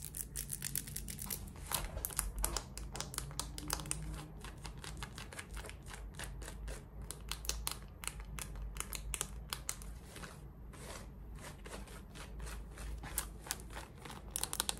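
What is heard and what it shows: Long red acrylic nails scratch the waistband and front of worn, light-wash, high-waisted cotton denim shorts, near the button and fly. Dense, rapid, bright scratching strokes with a crinkly texture run throughout, over a steady low rumble.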